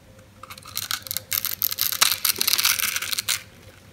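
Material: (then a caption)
Soap. A metal knife slices cubes off a green oval bar of solid dry soap with a grid-cut surface, held in the hand. The result is a run of dry, bright, crunchy crackles and crumbly snaps with almost no low end, building in clustered bursts before ending abruptly.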